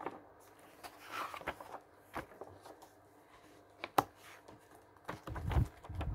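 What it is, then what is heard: Glossy paper catalog pages. Fingertips riffle and turn several thin pages of a glossy paper catalog lying open on a wooden table, in quick succession. Soft papery rustles and crackles come in short bursts, with one sharp snap of a page in the middle. A fuller, low-pitched flutter of paper closes the clip.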